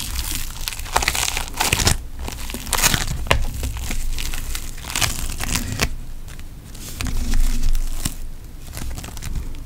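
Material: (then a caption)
Foam beads. A pink lump of floam putty made of foam beads is kneaded and squeezed with fingers and thumbs. It gives a steady stream of dense crackling, crinkling and popping with brief bright snaps over a low rumble.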